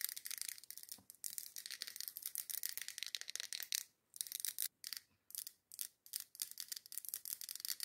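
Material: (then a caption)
Glass. Long acrylic nails tap and scratch quickly on a large glass Yankee Candle jar filled with red wax and topped with a glass lid. The result is a dense stream of quiet, bright, clicky ticks and scratchy rasps with almost no low end and no ring. The sound is broken by a few short pauses in the second half.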